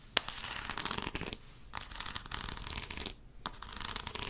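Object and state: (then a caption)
Plastic powder bottle. A tall, hollow white plastic talcum powder bottle with a blue cap is tapped and scratched with long acrylic nails. Bursts of bright, crackly scratching are broken up by sharp clicking taps. Short quiet pauses fall between the bursts.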